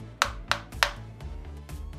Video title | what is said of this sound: আবারও ধরা খেলাম😥স্পিকার কিনলে সাবধান! 230Tk BT Speaker Insider Review, Teardown | টোকা দিলেই শুনুন পরিষ্কার বোঝা যায় ভেতরে ফাঁপা